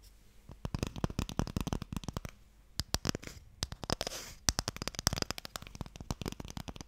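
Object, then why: Small wooden box. A small, long, hollow wooden Mikado box with a printed lid is tapped and scratched with fingernails. Quick, dry clicks with a low, hollow thump come in uneven rapid bursts, broken by short pauses and a brief stretch of brighter, hissy scratching near the middle. Each hit stops almost instantly with no ring.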